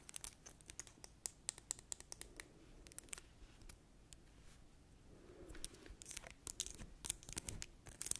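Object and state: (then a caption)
Plastic hand sanitizer bottle. Long acrylic nails tap and scratch a small, clear plastic Dettol hand sanitizer gel bottle with a green cap, filled with green gel. The result is a quiet stream of many sharp, bright clicks and dry, crinkly scratching with almost no ring.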